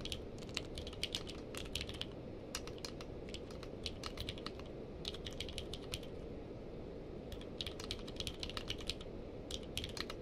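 Fingertips of both hands type on a purple-case mechanical keyboard with plastic keycaps. Quick bursts of sharp, bright clicks come in uneven clusters with brief pauses, each keystroke short and dry. Beneath them runs a steady low rumble.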